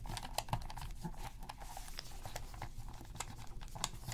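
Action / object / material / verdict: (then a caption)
tap / plastic game controller / plastic / none. Gloved hands press the buttons of a black hollow plastic PS3 controller resting on black fabric while a cotton swab scrubs the gaps around the buttons. Quiet, dry click-like taps and soft scratchy crinkling repeat irregularly throughout, with short, quickly fading clicks.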